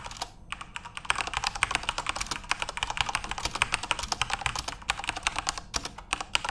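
Fingertips type steadily on a full-size RGB-backlit Corsair mechanical keyboard with plastic keycaps. The result is a rapid, continuous stream of short, bright clacks that stop almost instantly, with very little low end.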